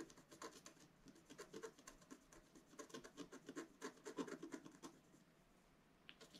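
A wooden stylus repeatedly scratches the black coating of a flat, solid, roughly A4 scratch art card with coloured foil paper underneath, lying on a table. Quiet, dry, rasping strokes come in an irregular, brisk rhythm with a bright, papery edge. The scratching pauses briefly near the end before one last stroke.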